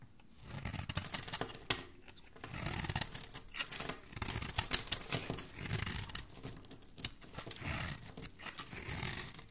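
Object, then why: Solid bar of soap scraped with a metal blade. A cream-colored, embossed solid bar of soap is held in the hand while its corner is scraped and shaved with a metal utility blade. Repeated bursts of bright, crisp rasping and crinkly shaving strokes come in uneven waves, with a sharp click early on and quiet gaps between passes.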